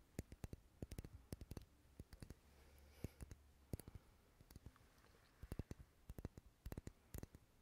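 Fingernails tap and scratch a dark red solid wax pillar candle held close to the microphone. Sharp, dry clicks come in irregular bursts, with softer scratching in between over a low hum.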